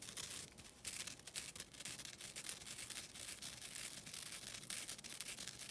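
A flat, thin, solid green nylon scouring pad, a synthetic abrasive, is held in the hands and scratched with long dark-blue nails. This gives a steady run of bright, dry, raspy scratching strokes that swell and fade with no low end.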